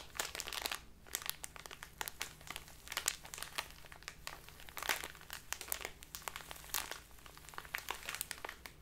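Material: Plastic.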